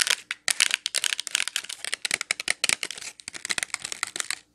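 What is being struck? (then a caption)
Clear plastic wax melt package with wax cubes. Long nails tap and scratch a clear plastic Glade wax melt pack full of wax cubes. A rapid, uneven run of bright, crinkly plastic clicks and scrapes sits almost entirely in the high range. Each tap stops dead with no low thump.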